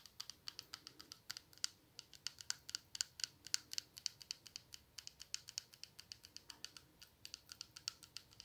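Long nails tap the glass body and black cap of a small glass perfume bottle partly filled with pink liquid. The clip holds about fifty quick, sharp, bright clicks with almost no ring and very little low end, in a steady, uneven tapping rhythm over a quiet background.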